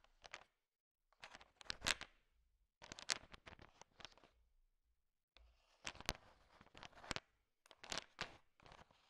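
A thin wooden stick stirs and pokes through a large pile of small, solid, sugar-shell-coated chocolate M&Ms, making the candies click against each other. Short bursts of quiet, bright, crunchy clicking and rattling are separated by brief silences.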